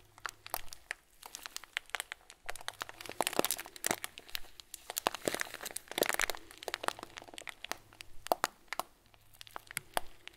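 Fingers squeeze and crush a clear plastic bag filled with tiny foam beads, making a dense stream of crinkles, crunches and sharp crackles. The bright, quick snaps come in irregular bursts over a faint low hum, swelling and easing as the bag is worked.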